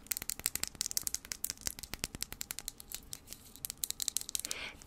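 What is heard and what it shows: Long nails tap quickly along the body of a slim, cylindrical glass travel-size perfume vial with a printed pattern and a metal cap, held upright. The taps come as a rapid, dense run of crisp, bright clicks with almost no ring and little low end. A softer hissing rustle rises just before the end.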